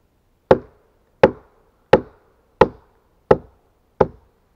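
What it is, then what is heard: Pine log. Gloved hands chop a steel axe into the notch of the same large, solid pine log, landing six sharp, separate strikes at a fairly steady pace. Each blow is a short, woody knock centered in the midrange around 500 Hz with a brief bright edge, and it dies away almost at once.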